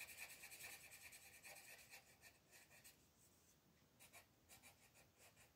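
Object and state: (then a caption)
Paper coloring page. A colored pencil scratches and rubs across a thin paper mandala coloring page on a table in short coloring strokes near the edge, while the other hand rests flat on the sheet. The result is a quiet, bright, dry rasping with a scratchy band around 2.3 kHz, with dense rhythmic strokes for the first three seconds before they thin into scattered, softer scrapes.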